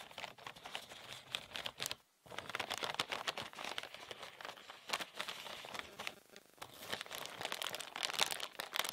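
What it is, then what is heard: Clear plastic bag. A medium, thin, empty, transparent plastic bag is held in both hands while fingertips crinkle it and squeeze it into a bunch. The result is dense, bright crackling and rustling with sharp little snaps and almost no low end, broken by a brief silent gap near the two-second mark.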